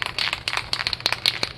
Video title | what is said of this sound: Pt:2 Will it Deliver? 1964 21 Window VW Bus Transporter Revival Drag Link Install | shake it till you can't hear the rattle no more